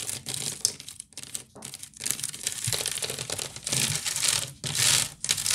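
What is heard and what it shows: Long nails scratch fast and tap on the weave of a hollow, woven wicker basket. The sound is a bright, dry, crackling scratch in uneven bursts, with sharp taps and short pauses between runs.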